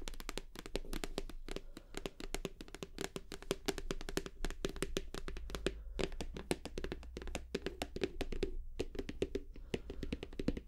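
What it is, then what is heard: Plastic shower gel bottle. Long nails tap rapidly and continuously on the front label area of a 500 ml white plastic squeeze bottle of shower gel that appears full. Each tap is short and dry, with a muted hollow tone in the low-mid range and a soft low thump underneath. The tapping continues steadily throughout with little ring after each strike.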